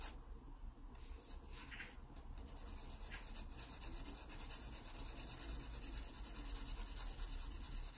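A wooden pencil scratches shading strokes across the page of an open paper sketchbook. The sound is a steady, continuous rough scratching with bright, hissy texture, repeating in quick back-and-forth strokes at about two per second over a low, constant rumble.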